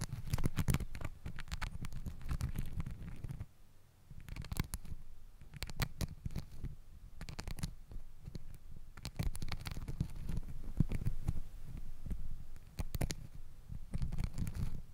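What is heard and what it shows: A stack of pink and green glittery elastic hair ties, scrunchie-like fabric bands, is wrapped around the top of a microphone while long acrylic nails scratch and rub over the glitter bands throughout. The result is a dense, low, muffled rumbling with many quick scratchy clicks and brief bright crackles, softening briefly before picking back up.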